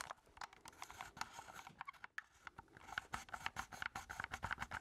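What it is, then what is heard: Plastic game controller being tapped. A black plastic keypad game controller with a hollow handheld body is held in both hands while fingertips tap rapidly on its keys and casing. The result is a quiet run of short, dry plastic clicks and scratchy patter, with little low end and a mid-pitched tick at the core of each tap. The taps thin out briefly near the middle, then return as sharper, more evenly spaced clicks.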